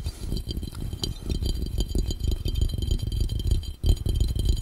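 Fingertips tap rapidly on the round glass bottom of a hollow, empty glass fishbowl. The result is a dense, uneven patter of dull, low thuds with very short decay and faint bright glassy clicks on top, pausing briefly near the end before resuming.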